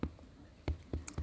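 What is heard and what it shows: Five gentle taps on the swollen abdomen of a goat that has not been eating give low, hollow, resonant thumps, each dying away quickly. The resonant sound means the goat is bloated, with gas distending its bowels.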